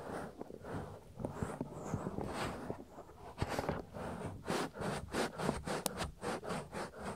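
Fingertips rub the soft, solid silicone ear flap of a 3Dio binaural microphone back and forth. Close, muffled rubbing and scratching swishes with a low, thumpy body come in loose, uneven strokes, then turn into quicker rhythmic brushing toward the end.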